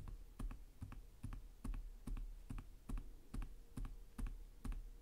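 One hand types with its fingertips on the plastic chiclet keys of a black laptop with a hollow chassis, tapping slowly. Each tap is a soft, hollow thud with a faint bright click, arriving in a loose, fairly steady rhythm a little over twice per second. The sound is quiet and mostly low-pitched, and each tap dies away quickly.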